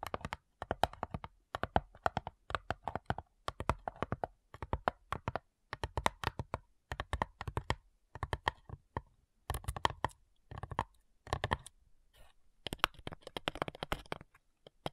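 A small, flat, light, hollow wooden box with a printed lid and metal clasps is tapped and scratched on the lid with long nails. Rapid bursts of short, dry clicking taps come in clusters with brief pauses, giving a hollow mid-range knock.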